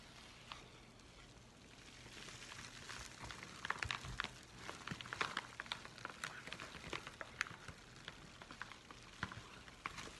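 A yellow Amazon kraft padded envelope is rubbed with a flat palm, giving a soft, steady papery hiss. Fingers then scratch and crinkle it, adding many sharp, bright crackles and clicks over the quiet rustle.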